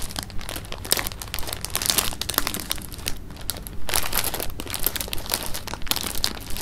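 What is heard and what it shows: A clear plastic bag of jelly beans is held in the hands and squeezed, crinkled and shaken. Dense, irregular plastic crinkling fills the clip in quick bright bursts over a low, steady rumble, with louder surges around the middle and toward the end.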